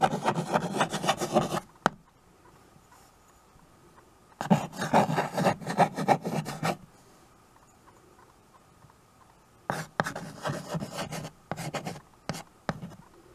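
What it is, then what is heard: Chalk writing on a wood-framed chalkboard. White chalk is rubbed and scratched across the dark surface of a small, flat chalkboard in a wooden frame while names are written on it. Dense, gritty scraping strokes come in three bursts separated by quiet pauses, and the last burst breaks into shorter, choppier strokes. A faint steady tone lingers in the gaps.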